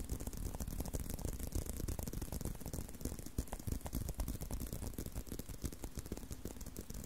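Continuous tapping and scratching on a leather belt, heard as a dense run of short, dry taps with a soft scratchy texture. The sound is mostly low and muffled, with little brightness and almost no ring after each tap.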